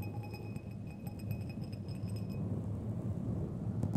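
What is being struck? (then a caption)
Steel threaded screws. Two long, thin, solid steel threaded screws or rods are crossed and scraped thread on thread, then tapped together. A steady low, gritty rasp carries faint bright metallic ringing through the first half. The clip ends with a few sharp taps.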